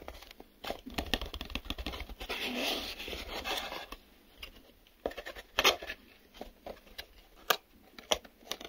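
Fingertips and nails tap on the sides and folded-in inner flaps of a small, empty, hollow printed cardboard retail box that is open at one end. Crisp, dry taps and clicks come in uneven bursts, with a stretch of continuous scratchy rustling in the middle before sparser, sharper taps resume.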